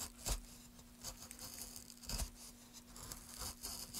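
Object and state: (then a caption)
Wooden plank being carved. A wooden-handled gouge carves the edge and face of a solid light wood plank in quick scraping strokes. Short, dry, bright scraping bursts with soft low thumps come at an uneven pace over a faint steady low hum.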